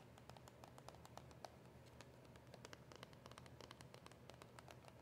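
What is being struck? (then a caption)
Small cardboard box with a clear plastic window. Long acrylic nails tap rapidly on a small, hollow cardboard box of press-on nails with a clear plastic window and nails inside. About thirty quiet, crisp clicks with bright tops and very short decay follow one another over a steady low hum.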